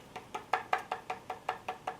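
A 3D-printed candlestick holder made of bronze-filled PLA is tapped ten times in a steady rhythm, each tap a short, dry, hollow knock centered around 750 Hz that dies away almost at once. It sounds hollow because of the way it was printed, raising concern that firing it could make it melt in on itself.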